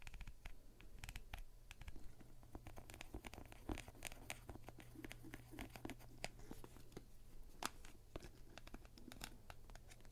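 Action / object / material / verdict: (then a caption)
scrape / hollow vinyl rubber duck / vinyl / none. A hand-sized hollow blue costumed vinyl rubber duck with a paper tag, gripped by long dark nails, is scratched up close with a thin pointed tool. Quick, dry scratching ticks and brief crackly strokes come in a dense, irregular run over a steady low hum. The scratches are short and bright with no ringing afterward.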